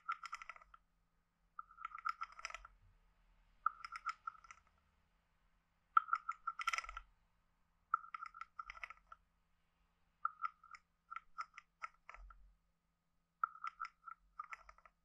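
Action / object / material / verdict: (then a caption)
tap / carved wooden frog guiro / wood / none. A wooden stick taps the head and back of a hand-sized, hollow, carved wooden frog guiro, producing quick, dry clicking rattles with a hollow woody tone around 1.3 kHz. The taps come in seven short bursts separated by brief pauses. The sound is soft and close, with almost no ring after each tap.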